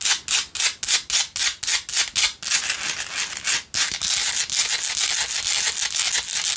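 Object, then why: Salt rock tealight holder. Long nails scratch the rough outer surface of a small hand-held pink Himalayan salt rock single tealight candle holder with a lit candle inside. A quick run of separate, bright, raspy strokes gives way to denser, near-continuous high scratching, with little low end.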